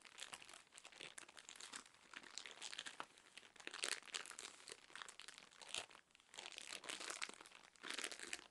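A full cylindrical roll of cotton pads wrapped in crinkly plastic film is scratched and squeezed with long nails. It makes quiet, dense, bright crinkling and crackling that swells and fades in bursts, with almost no low end.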